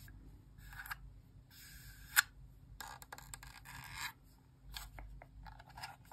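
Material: Plastic.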